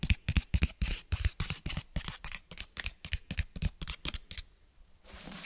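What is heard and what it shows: Fingernails tap and scratch on a closed cloth-bound hardcover book held upright, working across the cover and the page edges. Around 22 quick, dry, irregular taps land at a brisk pace, each with a soft low thump and a bright scratchy edge. The tapping fades into a quiet pause near the end, followed by a steady, soft rasping scratch.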